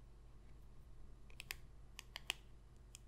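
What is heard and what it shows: A single small, thin printed cardboard football trading card, held in one hand with its back side showing player stats, is tapped and scratched with long pointed red nails. Seven short, bright, dry clicks sound over a quiet low hum, with no ring after each tap.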